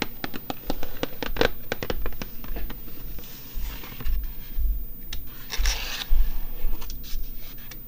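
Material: Cardboard.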